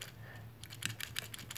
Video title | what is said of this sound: May 2016 Mystery Tackle Box Unboxing! | if I shake it there's no Rattlers inside